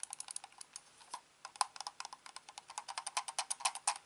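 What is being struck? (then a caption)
Plastic computer mouse. Fingertips tap and scratch the top and underside of a hand-sized, hollow, black plastic corded computer mouse that has been turned over, producing clicking and tapping. It makes a quick, irregular run of short, dry plastic ticks centred around 1 kHz with bright upper edges, almost no low end, and no ring. There is a brief pause after the first second before the taps return, growing denser and louder toward the end.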